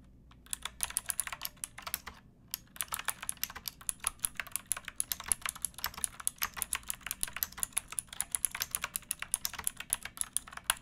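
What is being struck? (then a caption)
Plastic mechanical keyboard. Both hands type with fingertips and nails on a pink backlit mechanical keyboard with plastic keycaps. Dense, fast, bright clicky keystrokes come in quick bursts, with a brief pause near the two-second mark. Each stroke is sharp and dies almost at once.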